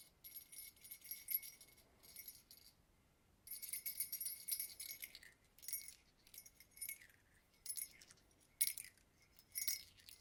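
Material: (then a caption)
Metal. Acorn-shaped Christmas earrings are shaken and handled, giving off bursts of bright, high-pitched jingling with short pauses in between. The earrings are called obnoxious, and they haven't been worn in a long time because they caused migraines.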